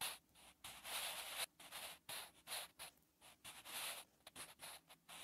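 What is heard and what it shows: A wooden pencil scratches and rubs across a textured, lined notebook page while writing, making dry, bright strokes. The short scratches come in quick uneven bursts separated by brief pauses, with almost no low end.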